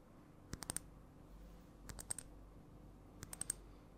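A partly filled clear glass perfume bottle with a metal cap is tapped with long nails in three separate bursts of quick, light taps. Each tap is a short, bright click with a high ringing edge that dies away almost instantly, heard over a quiet, low background.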